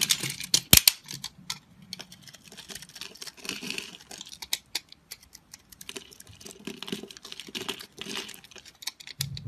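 A metal blade scrapes pre-scored cubes off a solid, opaque, pastel multicolor soap bar held in the hand. The result is a dense patter of crisp, bright, crumbly clicks and ticks, with one sharper snap near the start and faint low thuds underneath.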